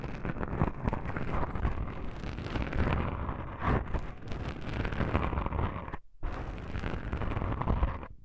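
Long pink nails on both hands scratch fast across soft black foam microphone windscreens. The result is a dense, continuous rustling scrape with a heavy low rumble and little high end, broken by a brief silence near the six-second mark before the scratching resumes.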